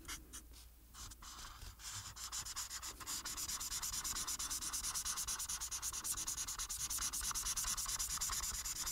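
A felt marker tip colors a flat paper coloring sheet on a table in quick back-and-forth strokes. The result is a bright, scratchy rubbing with a faint steady low hum beneath it. The strokes start sparse and quiet, then settle after about three seconds into a louder, steady rhythm of rapid scrapes.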